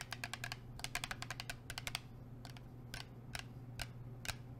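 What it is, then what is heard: Plastic water bottle tapped with nails. Long nails tap a blue plastic sports water bottle with a black cap, making sharp, bright clicks with almost no ring. A quick flurry of taps slows into a few widely spaced ones, over a steady low hum.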